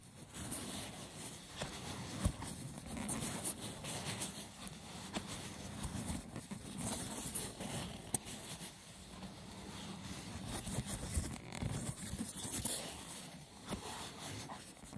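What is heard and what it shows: Fingertips and short nails scratch and tap the textured top of a hollow, rectangular lidded box of braided seagrass wicker resting on a wooden table. A steady, rough, crackling scrape fills the clip, with a hollow low body and a bright, fibrous rasp on top. Occasional short, sharp taps stand out.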